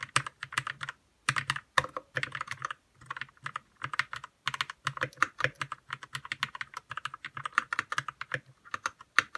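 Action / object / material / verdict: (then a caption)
tap / mechanical keyboard with plastic keycaps / plastic / none. Fingertips type steadily on a white 60% RK61 mechanical keyboard with plastic keycaps and lubed red switches. The keystrokes come in quick, clustered bursts with brief pauses, each a short, dry clack centered in the midrange with a bright edge. Every hit dies away almost instantly.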